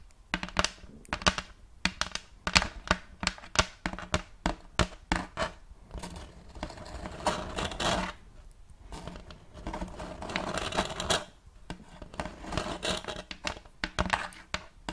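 Long acrylic nails tap and scratch near the rim of a round wooden plate made of checkerboard blocks, held upright. Quick, sharp taps with a short, dry ring give way to stretches of bright, scratchy rubbing, and the tapping returns in between.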